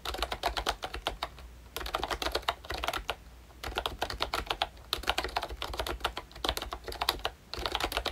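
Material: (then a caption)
Plastic. Fingertips type in bursts on a pink plastic ROYCHE Disney Mickey Mouse retro membrane keyboard with round keycaps and a hollow body. Quick, bright, hollow clacks come in several runs separated by short pauses, with a faint low hum underneath.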